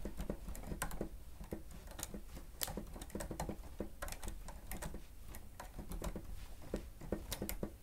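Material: Plastic.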